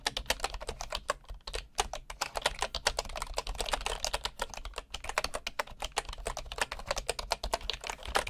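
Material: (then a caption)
Bamboo wood. A bamboo computer keyboard with wooden keycaps is typed on by one hand with the fingertips, heard up close from low at the side. Dozens of short, dry, woody clicks and taps patter in a steady, rapid stream, each dying away almost instantly. A faint low rumble sits underneath.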